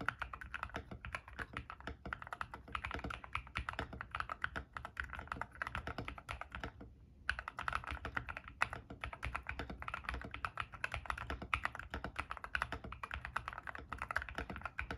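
Continuous rapid typing with fingertips on a white-case 60% mechanical keyboard with white and grey PBT plastic keycaps, resting on a desk mat. Dense, short clacky key presses with a low thock and a brighter click run throughout, with a brief pause around the middle before the typing resumes.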